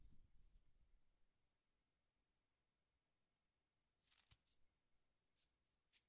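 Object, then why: Small wooden egg. A solid, egg-sized wooden egg is held in both hands and tapped and rubbed with the fingertips and nails. A soft, low rubbing at the start gives way to near silence, then five quiet, sharp, bright clicks from the nails arrive irregularly near the end.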